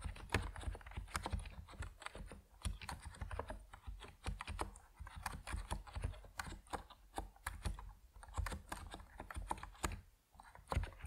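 Fingertips of both hands type on an Epomaker NiZ Plum Atom 68, a 68-key compact mechanical keyboard with white and purple PBT plastic keycaps, resting on a wooden desk. A steady stream of short, muted key clacks comes through, dominated by low thocky body with only faint brightness. Each stroke decays almost instantly.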